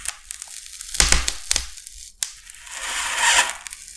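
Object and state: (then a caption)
Styrofoam sheet scored with a blade. The tip of a metal utility knife blade is drawn across a large, flat, solid white expanded polystyrene (styrofoam) sheet, scratching and scoring its surface. Bright, crackly squeaks and sharp snapping bursts stand out against quiet gaps, then a longer, high, gritty scrape swells up and fades.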